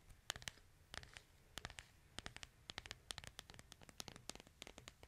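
Fingernails rapidly tap and scratch the back of a smartphone in a white plastic case held upright, making about 26 sharp, bright clicks with brief scratchy rasps between them. The sound is quiet and dry, with each tap dying away almost instantly.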